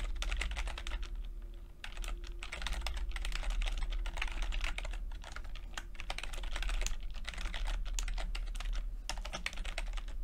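Fingertips tap the plastic keycaps of a backlit chiclet computer keyboard in steady typing, producing dense, bright clicks with a brief lull near the two-second mark. A constant low hum sits underneath throughout.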